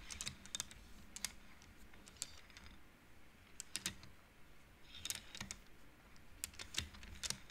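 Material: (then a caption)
Wood. A wooden-framed abacus with colorful painted wooden beads on metal rods, its beads pushed and flicked by fingertips and long nails. Quick, bright clacks come in irregular bursts as the beads knock against each other, each dying away almost at once over a faint low hum.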